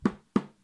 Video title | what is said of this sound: Thistles Hand Embroidery Tutorial | pull the fabric nice and taut so that when you flick it sounds like a drum